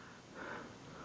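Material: Nothing is struck.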